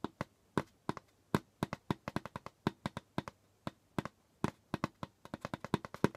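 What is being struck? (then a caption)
Djembe drum skin head. Fingertips tap and scratch the pale skin head of a djembe drum while both hands rest flat on it. About 35 short, dry, soft taps come in an uneven rhythm, each with a low, muffled body around 190 Hz and a quick bright click that dies away almost instantly, and faint scratching sits between them.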